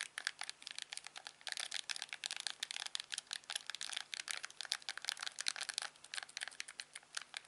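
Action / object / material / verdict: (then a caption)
tap / plastic TV remote control / plastic / none. A thumb presses and rubs the buttons and wheel of a hand-sized, hollow, black plastic LG TV remote. The result is a rapid, uneven stream of sharp, dry, bright clicks and soft crinkly rubbing that stops instantly with no ring, over a faint low hum.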